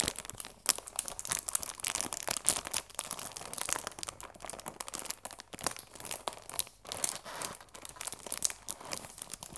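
Fingertips and long nails crinkle and press the clear plastic wrap sealing a rectangular cardboard chamomile tea box that appears full. The result is a steady run of bright, crisp crinkling with sharp little crackles and almost no low end.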